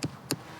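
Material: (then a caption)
Subsoil. Two short, dull taps on undisturbed natural subsoil at an excavation, tested to tell it apart from the fill of prehistoric stone holes. Each tap is a brief low thud with little ring, and the sound stays solid rather than hollow, as expected for natural ground.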